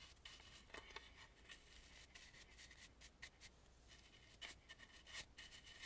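Brush bristles sweep along the underside of the carved teeth of a red and gold painted carved wooden mask. Quiet, dry scratchy strokes with a bright, hissy rasp come in uneven bursts over a faint steady low hum.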